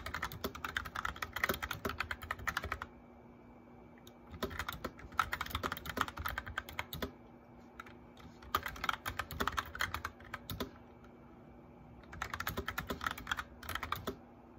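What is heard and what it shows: Both hands type with the fingertips on a white plastic mechanical keyboard with backlit keys and a hollow plastic case, the nails touching the keycaps. Four bursts of rapid, clacky keystrokes are separated by short pauses, with a faint steady hum underneath.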